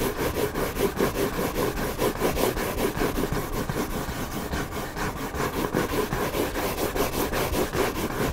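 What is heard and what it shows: Fingertips scratch the surface of a hardcover book's white back cover, which is facing up. A steady run of quick, dry scratching strokes (about two or three per second) continues throughout with a raspy, papery texture.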